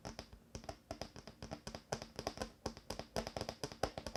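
A wooden table top is tapped in a quick, irregular series of short, dry knocks. Each tap dies away almost at once with a light woody click, and the overall level stays quiet.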